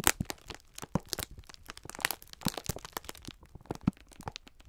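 A clear plastic film pack of sponge scourers is held in both hands while the fingertips squeeze and rub it, crinkling the plastic. The result is a dense, uneven stream of sharp crackles and crunchy rustles, each snap short and dry, with bright highs and some low thumps from the handling.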